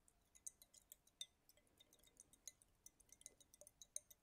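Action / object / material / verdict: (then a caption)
tap / small glass dropper bottle with liquid / glass / none. A small clear glass dropper bottle filled with green liquid is held up in one hand and tapped with fingertips and nails. About twenty quick, bright clinks and ticks come in an uneven series, each dying away almost instantly. They rise over a faint, quiet background.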